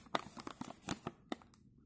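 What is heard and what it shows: A filled plastic snack chip bag is pressed by gloved hands while a bristle brush strokes its surface. This produces a series of quiet, sharp crinkles and crackles with bright hiss, separated by soft rustling, then fading to near silence.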